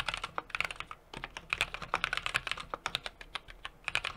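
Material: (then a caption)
Aluminium, plastic. Fingertips of both hands type continuously on a small 60% mechanical keyboard with an aluminum case, brass plate and plastic cherry-profile keycaps resting on a desk. Rapid, uneven keystrokes produce crisp, bright clacks that stop almost instantly, with very little low-end thump.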